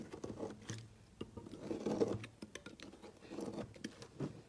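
A small metal knife blade shaves and scrapes curls off one edge of a solid rectangular brown bar of soap held by hand over a woven mat, with a pile of shavings below. Quiet, dry scraping strokes come in uneven bursts, with soft crackly ticks and brief brushing swells, each stroke dying out almost at once.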